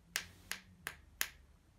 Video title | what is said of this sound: ULTIMATE LEGIT CHECK GUIDE: Counterfeit/Fake VS Real YONEX Badminton Rackets | it's quite a high-pitched and quite a solid sound